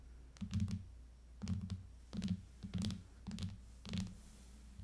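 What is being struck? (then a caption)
Plastic tablet case over an aluminium tablet. Long fingernails of both hands tap the back of an iPad in a clear plastic case lying flat on a table. Six quick bursts of tapping each blend a dull, low knock with short, bright clicks, and the sound dies almost instantly after each tap.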